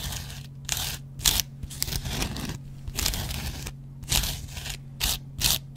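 A metal double-edge razor blade scratches the yellow cellulose foam of a hand-sized, dry kitchen sponge with a green scouring pad. Bursts of bright, dry, crackly rasping come in repeated strokes separated by short quiet gaps, over a steady low hum.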